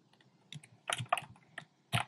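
Fingertips type on a compact plastic mechanical keyboard with round pastel plastic keycaps in a dark frame. About six short, clacky keystrokes land at uneven intervals, each a dry click with a low thud and bright top that stops almost instantly.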